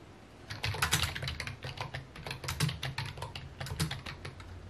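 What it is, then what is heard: Plastic computer keyboard. Fingertips tap quickly across a full-size white and mint plastic computer keyboard resting on a wooden desk. Its hollow key housings give bright, clicky clacks over a low, hollow thump, in uneven bursts of rapid keystrokes that start after a brief quiet moment.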